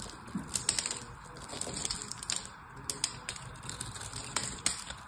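A craft knife cuts into a solid purple bar soap with an embossed logo and diamond texture, held in the hand, and small cubes crumble away. Quick, bright crisp clicks and crackles sound over a faint low rustle, each snapping off with almost no ring.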